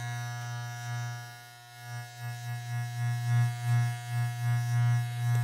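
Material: Nothing is struck.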